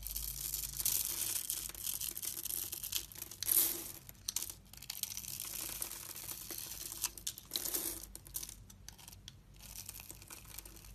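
A thin blade scores a solid blue and white striped soap bar held in the hand and scrapes off small cubes. The sound is a steady, bright, dry scratching and crackling with little low end, with louder rasping bursts at about 3.5 and 7.8 seconds.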